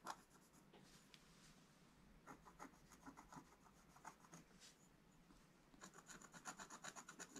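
A wooden stylus scratches the black coating off a flat scratch-art page in a book. It makes soft, dry, rasping strokes with a bright edge, in quick, irregular bursts. The strokes come faster and denser toward the end.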